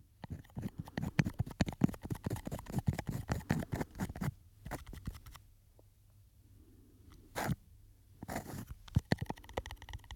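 Fingernails tap and scratch a small glass perfume bottle with a textured, studded surface and a silver cap, held in both hands close to the microphone. A dense run of quick, dry clicks and crunchy scrapes fills the first five seconds, followed by a near-silent pause with a single sharp tap. Then the tapping resumes more sparsely.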